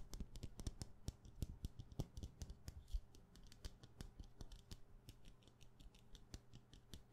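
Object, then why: Wax pillar candle. A solid white wax pillar candle with a wick, held in one hand, is tapped and scratched rapidly with fingernails along its side. The result is a dense stream of quick, dry clicks with a soft low thud beneath them and bright ticking edges, each dying away almost instantly, mixed with a faint scratchy rustle.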